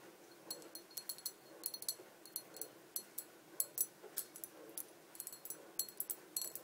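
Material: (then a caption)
Glass. Long dark painted nails tap the sides of a small, empty, hollow clear glass bottle standing on a table. The result is a quick, irregular string of short, bright clicks and clinks with a high glassy tone that dies away almost instantly. The taps are quiet, with almost no low end.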